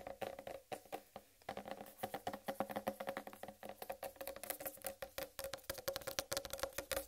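Long red nails on both hands rapidly tap and scratch the green striped rind of a large, solid, whole uncut watermelon. The result is a dense, quick patter of dry, woody clicks with a hollow tone around 555 Hz, mixed with bright scratchy rasps. Each tap dies away almost instantly.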